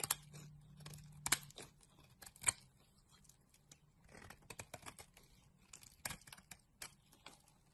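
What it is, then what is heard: Bar soap being carved. A utility knife blade scrapes and carves a solid green bar of soap held in the hand. Crisp, bright scraping and shaving strokes come in irregular bursts with short, sharp clicks, over a faint low hum at the start.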